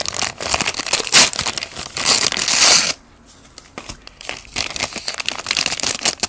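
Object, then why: Paper bag holding a fried chicken patty. A small white paper McDonald's Shaka Shaka Chicken bag holding a fried chicken patty and seasoning powder is gripped in both hands and shaken, then folded open to show the chicken. Loud, bright paper crinkling and rustling fills the first three seconds, drops to near silence for a moment, then returns as softer, scattered crinkles while the bag is opened.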